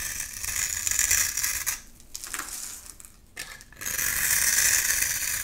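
A flat metal blade scrapes shavings off a solid pink bar of soap with an embossed logo, held in one hand. The result is a dry, bright, hissing scrape with a rapid grainy rattle. It runs steadily, fades into two brief quieter gaps midway, then returns at full strength to the end.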